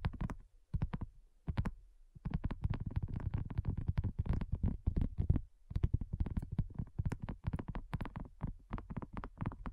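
Long nails tap quickly on a flat, round, pink dotted silicone coaster that is thin and solid. A rapid run of soft, dull, low thuds with almost no brightness, each dying away almost at once, pauses briefly now and then before the tapping resumes.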